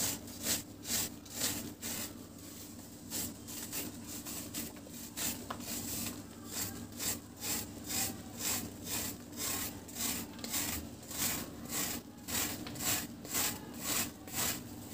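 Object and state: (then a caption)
Dry cement cake scraped with a blade. A large, round, flat, solid dry cement cake is held upright in one hand while a blade in the other hand scrapes across its face, making powder fall. Quick, bright, dry scraping strokes repeat about twice per second and ease off briefly near the start before resuming. A steady low hum runs underneath.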